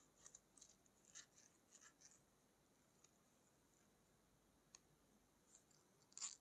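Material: Plastic.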